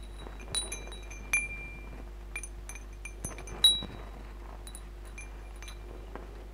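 A hanging wind chime of hollow metal tubes with glass crystal beads is strummed and pushed by hand so the tubes and beads swing and chime. About nine irregular strikes ring out in bright, clear tones centered near 3.9 kHz, some with lingering overtones and light clinking. A steady low hum sits underneath throughout.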